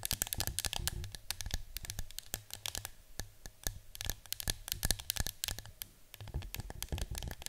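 Long nails scratch and tap the front and side of a yellow cylindrical cardboard citronella canister standing on a table. The result is a dense, steady stream of dry, bright clicks and scratchy rasps with a soft low thump under each tap and no ringing afterward.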